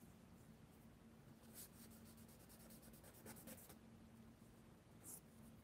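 Fingertips rub and blend charcoal across a large flat sheet of mixed media paper in a spiral sketchbook, while the other hand holds a pencil idle. The quiet, soft papery rubbing has bright, hissy strokes that swell and fade over a low steady hum, with a sharper high scrape near the end.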